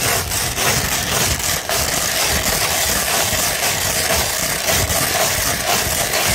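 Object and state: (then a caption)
100-grit sandpaper scratched with fingernails. A 100-grit sandpaper sheet, first lying flat and then rolled into a tube, is scratched with fingertips and long nails. The result is a steady, dense, gritty rasp, rich in bright high hiss, with rhythmic strokes and no pauses.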